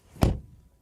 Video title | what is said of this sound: Best SUV Coupé comparison BMW X6 vs Audi Q8 vs Porsche Cayenne Coupé vs Mercedes GLE Coupé | Door closing sound. That sounds solid. Really cool.